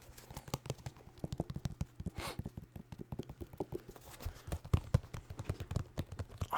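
A pair of white New Balance 608 sneakers, made of synthetic leather with rubber soles, is tapped rapidly with fingers, producing dozens of quick, dull, low thuds. Each tap is short and dies almost instantly with no ring, and the sound sits mostly in the low range with very little brightness.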